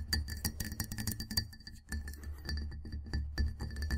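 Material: Glass.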